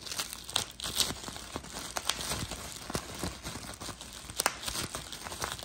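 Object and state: Plastic bubble wrap.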